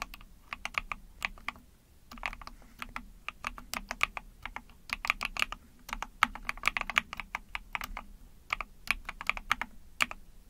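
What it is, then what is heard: Plastic mechanical keyboard being typed on. A small Epomaker TH40 44-key mechanical keyboard with an ABS plastic case, PC plate, and backlit pink and white keycaps is typed on rapidly with long painted nails and fingertips. Bright, sharp plastic clacks come in quick bursts with brief pauses between, each click dying away almost instantly over a faint low hum.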